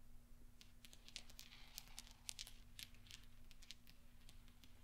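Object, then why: Small steel balls on a soft cloth. Fingertips sweep and flick small solid steel pachinko balls across velvet so they knock together. The result is a quiet scatter of sharp, bright metallic clicks and ticks that die away almost instantly, over a steady low hum.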